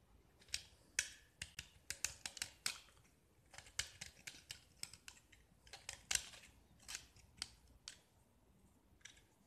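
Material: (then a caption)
Gypsum. A metal utility knife blade scrapes and carves a small, solid gypsum block with a black-painted, diamond-patterned face. A quiet series of sharp, bright, crisp scraping snaps rings out unevenly, each one brief and dry, with gaps of near silence between them.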